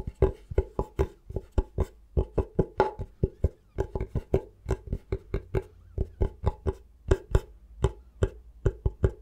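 Fingertips tap slowly and lightly on the face of a thin, solid bamboo cutting board held at an angle. About 34 short, dry wooden knocks follow one another, each a low thud with a hollow midrange tone and a brief bright click on top. They die away almost instantly.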